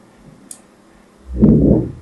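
A thin metal needle scores a solid, pink, hand-sized bar of soap with an embossed brand in scratch strokes. A faint, bright tick comes first, then a louder, low, grainy scraping swells in and runs to the end.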